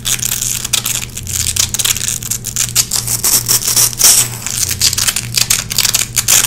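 Long red-painted fingernails scratch and pick white lint out of a small gray nylon velcro hook patch, the hooks crackling. Dense, bright, rapid scratchy crackles come in quick bursts over a faint steady low hum.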